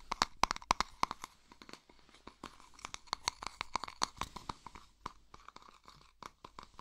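A small, hollow, round silver metal tin is held in both hands while fingertips rub and twist it and scratch its lid and sides. A dense run of sharp, crisp scratching clicks carries a metallic tone near 1 kHz and a bright edge. Each click dies away almost instantly, and the run grows softer and sparser toward the end.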